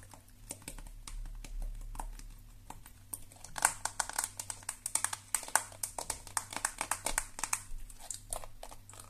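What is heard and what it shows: Long nails scratch the flexible plastic bristles and tap the hollow body of a lilac and black plastic detangling hairbrush. Quick, dry, bright clicks and scratchy ticks come in rapid, uneven bursts that get denser and louder in the second half. A faint low hum runs steadily underneath.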